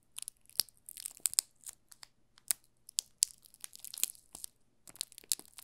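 A yellow bar of solid soap wrapped in clear plastic film is held and turned in both hands while fingertips rub and crinkle the film on its top and sides. Soft, bright crinkling and crackling comes in quick, uneven bursts with sharp snaps and almost no low end. The crackles die out instantly between touches.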